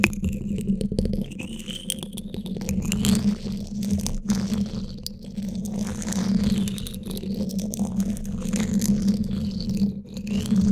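Flat emery-board nail files held in both hands rub and scrape along the top of the woven steel mesh grille of a Blue Yeti microphone's hollow dome. The result is a continuous, rough scratching rasp. A strong low, droning resonance sits near 220 Hz, and the strokes swell and fade as they speed up and slow down.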